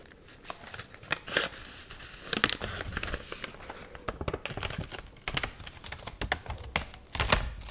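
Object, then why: Paper magazine. A wavy, water-wrinkled, dried paper magazine is flipped through and crinkled with long nails and fingertips. Dense, bright crinkling and rustling comes in quick bursts, with sharper crackling flips that stop almost at once.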